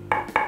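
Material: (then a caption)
Plywood. A plywood board intended for a speaker box is knocked three times, each knock a short, dry, hollow tock centred around 1.2 kHz that dies away almost at once. The board is judged poor-sounding and hollow, so a different multiplex board should be chosen instead.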